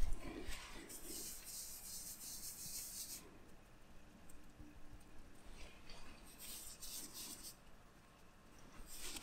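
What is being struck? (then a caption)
Cotton t-shirt with printed graphic. A fingertip rubs and scratches over the white line-art print near the collar of a black cotton t-shirt worn on the body. It makes quiet, dry scratching in bright, hissy bursts with soft low rustling underneath. The sound fades slightly in the middle and builds again at the end.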